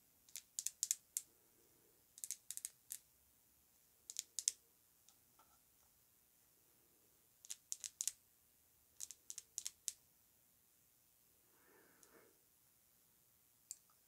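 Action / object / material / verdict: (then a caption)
tap / glass perfume bottle tapped with fingernails / glass / none. Long nails tap a clear glass Snif Citrus Circus perfume bottle with a gold cap, partly filled with liquid, while it is held and then set upright on fur. Bright, quick clicks come in short bursts with quiet pauses between them, and near the end there is a soft muffled rustle.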